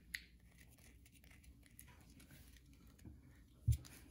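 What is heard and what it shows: Long nails scratch and tap the surface of a solid, carved white bar of soap held in the hand. A soft, steady scratching texture runs throughout, with a sharp bright tick near the start and a louder, duller tap near the end.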